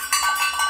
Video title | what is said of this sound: Zara Home Haul, The Golden Hour Collection, At Home with Juana Pepa, "Dare to Decorate" Ep. 18 | this ping ting ting sounds like cowbells